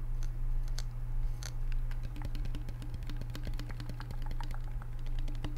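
A hand-sized plastic shaker or sports bottle with printed graphics and a yellow flip cap on a strap, apparently closed, is held in the hands and tapped with the fingertips throughout. Quick, light, irregular clicking taps patter over a steady low hum.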